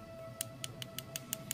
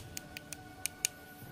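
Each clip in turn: First: Seven quick, dry, high ticks from a tapped iron-bearing stone, dead at once, over a steady background hum. Second: Five dry, high clicks with no ring: a rusty iron-bearing stone tapped, sounding unlike solid iron.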